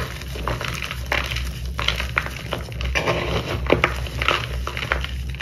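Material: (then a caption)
Chalk. Bare fingers and palms break sheets of dried corn starch paste crust off a solid, brittle block of pale purple dyed gym chalk (magnesium carbonate), then crush and crumble the chunks into powder in a white bowl. Dry, bright crunches and crackling snaps come in quick succession over a steady low hum, leaving the chalk in chunks and powder.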